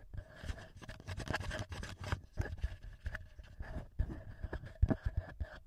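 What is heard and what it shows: Fingertips and short nails tap and scratch the top housing and metal-ringed mic capsules of a small black plastic TASCAM handheld audio recorder. Quiet, dull low thumps mix with dry scratchy bursts, over faint steady tones in the mid range.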